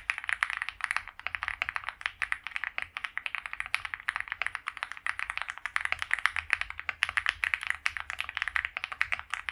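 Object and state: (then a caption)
Mechanical keyboard with PBT keycaps. Both hands type continuously on a white compact mechanical keyboard with PBT doubleshot keycaps, a polycarbonate plate and a foam-filled plastic case, resting on a felt mat. The result is a steady, fast stream of short, crisp clacks, bright and centered around 2 kHz, with very little low-end thump and almost no ring after each keystroke.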